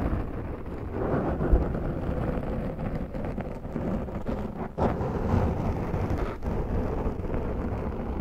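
Long acrylic nails on both hands scratch a large, round, black foam windscreen on a Zoom microphone, its soft, porous surface rubbed slowly and deeply. The result is a steady, muffled, low rumbling scrape, heavy in the bass with almost no bright content, that briefly dips just before the five-second mark and then resumes.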